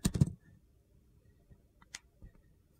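A utility knife blade shaves thin slices off a solid teal Dial bar of soap held in the hand, exposing the white interior. Three quick, crunchy scraping cuts come at the start, followed by near silence with a few faint, short clicks.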